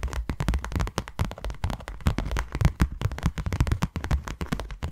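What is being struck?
Small closed cardboard box.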